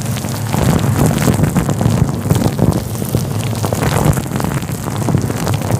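A fluffy grey-white synthetic faux fur windscreen covering a microphone is rubbed with the fingertips of both hands. The result is a dense, continuous, muffled rustling and scratching that sits mostly in the low range, with faint high hiss. It holds a steady level throughout, much like rain on a surface.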